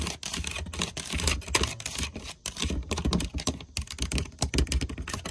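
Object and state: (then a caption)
Brass hinge plates tapped and scratched with fingernails. Long painted nails tap and scratch quickly across large flower-shaped brass hinge plates, solid flat metal mounted on a red lacquered wooden chest. The result is a dense, fast stream of short, dry clicks with bright scratchy texture over a low, muffled thud.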